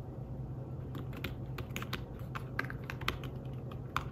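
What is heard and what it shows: Fingertips with short nails type quickly on a slim folio tablet keyboard whose thin, flat keys are covered in grey fabric over plastic. The result is a string of soft, brief tapping clicks over a steady low hum.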